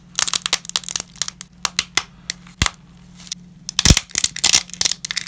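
Gloved fingers snap pieces of dry wavy lasagna over a heap of broken fragments. A rapid series of sharp, dry, bright cracks and crinkly crunches rises and falls, with a dense cluster of louder snaps near the end over a faint steady low hum.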